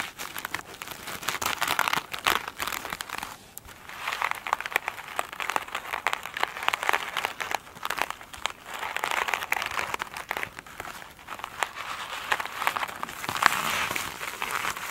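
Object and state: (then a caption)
Glitter-covered foam sponge. Long pointed nails of both hands scratch and tap an elongated oval foam sponge with a glittery woven surface, lying flat on a table. The sponge is soft and solid, and the nails make dense, bright crinkling scratches in rapid bursts with brief pauses, with almost no low end.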